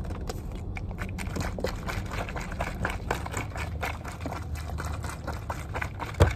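A full, clear plastic water bottle is tapped and scratched with long nails on its body and ridged bottom, inside a car. Quick, crisp ticks and scratchy clicks run continuously over a steady low rumble, with one louder tap near the end.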